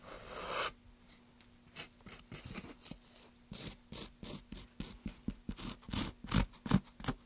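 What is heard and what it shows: Gloved hands work a wooden-handled chisel across the carved surface of a solid, pale basswood block. A long, continuous rasping scrape is followed by about 19 short, dry scraping and gouging strokes at an uneven pace, each bright and quickly damped. A faint steady low hum sits underneath.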